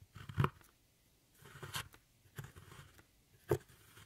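A metal tool with a rhinestone handle scrapes and crumbles a dark brown pressed powder pan in an eyeshadow palette. Short, dry scraping crunches with gritty, low-heavy texture and brief bright edges come in separate bursts, with quiet pauses between them.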